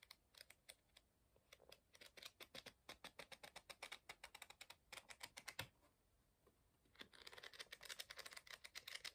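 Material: Paper.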